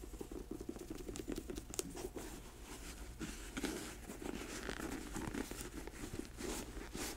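Long nails tap the sole of a black patent leather boot held sole-up, then scratch across its glossy upper once it stands upright. The result is a quiet, steady run of short dry taps and papery scratching with a soft low body and brief bright flicks.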